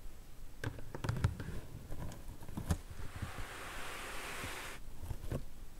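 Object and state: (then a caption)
Cardboard box. Long nails tap and scratch the lid of a closed, medium pink corrugated cardboard shipping box, then move to its front side while the box is held. Soft, dull taps and light rustling give way to a steady, airy scratching hiss over the cardboard before a few final taps.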